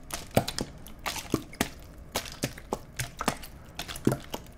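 A clear, empty, thin-walled plastic water bottle is held in both hands close to the mics while fingers squeeze, crunch and tap it. This produces a rapid series of sharp crackles and crinkles, each with a bright snap and a short low thump, separated by brief quiet gaps.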